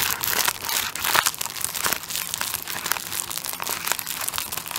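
Fingertips scratch and tap the clear plastic wrap over the top end of a tissue paper roll held upright. The result is a dense, continuous, bright crinkling and crackling with quick irregular tapping clicks and almost no low end.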